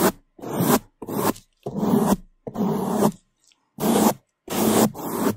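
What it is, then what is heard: Foam microphone windscreen being brushed. A black foam microphone windscreen is brushed on its sides and top with bamboo toothbrushes held in gloved hands. Fast, loud scrubbing strokes come in a series of separate bursts divided by short silences, each a dense, rough, close-up rasp.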